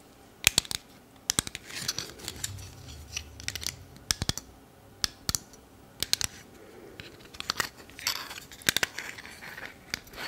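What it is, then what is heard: Plastic lens cap clicking. A small black plastic camera lens cap is pinched at its clip mechanism and tapped by fingers and long nails. The result is a series of sharp, bright clicks with almost no ring, set against faint rustling between them.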